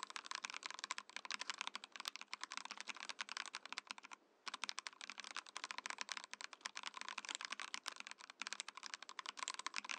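A compact Mojo68 mechanical keyboard with a translucent plastic case and plastic keycaps is typed on quickly with fingertips. It gives a dense run of sharp, bright, clacky keystrokes with no low rumble and a brief pause near the middle before the typing resumes.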